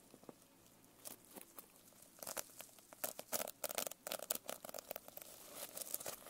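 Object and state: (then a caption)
Sequin-covered notebook. Long nails scratch and tap the sequins on the cover and spine of a closed sequin-covered notebook held edge-up. Quiet, dry, bright clicks and crinkly scratches come in uneven bursts with no ring, starting sparse and growing denser and louder toward the end.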